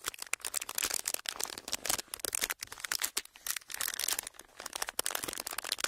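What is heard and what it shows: A pleated clear plastic sheet is squeezed, folded and crinkled by fingers. It makes a dense run of bright, dry crackles and crinkles, with short bursts that stop at once and almost no low end.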